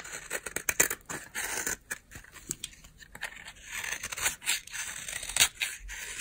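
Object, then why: Bar of soap scraped by a knife blade. A utility knife blade scrapes flakes off a solid, dry white oval bar of soap held in the hand. The result is a run of dry, crunchy, bright scraping bursts, mostly high in tone with almost no low end. Each stroke stops short with no ring.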